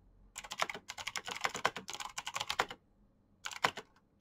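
Both hands type fast with their fingertips on a black plastic backlit mechanical keyboard with clicky switches. It makes a quick, uneven run of sharp, bright clicks that stops in a pause about a second long. Then a shorter burst follows and a final keystroke comes at the end.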